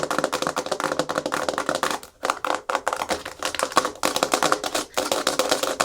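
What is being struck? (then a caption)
Hard plastic surface. Fingernails tap fast and aggressively on a hard plastic surface, with scratching mixed in. A dense stream of sharp, clicky taps with a bright, dry edge rattles along with no ring, pausing briefly around the two-second mark and again near five seconds.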